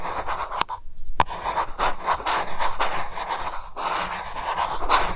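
Long nails scratch across the surface and rim of a silver metal lid on a small glass candle jar, making a dense, continuous rasping scrape centered in the midrange with bright edges. A brief silent gap near the start is bracketed by sharp, bright ticks as the nails catch, then the scratching resumes steadily to the end.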